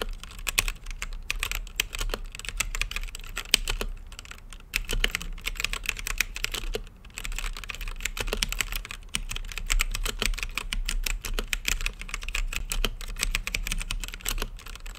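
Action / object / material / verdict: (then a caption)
tap / mechanical keyboard with plastic keycaps and acrylic case / plastic / none. Fingertips type steadily on an RGB-lit mechanical keyboard with plastic keycaps and a clear acrylic case, producing rapid, sharp, bright key presses with almost no ring. The clicking runs in quick bursts with brief pauses near the 4.7-second and 7-second marks before resuming at a steady pace.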